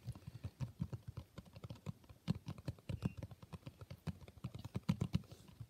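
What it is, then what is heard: Cloth-covered hardcover book. Fingertips of both hands rapidly tap the blue textured cloth cover of a solid hardcover book. About 35 quick, soft, dull thuds come in an uneven patter, each low-pitched and dying away almost instantly.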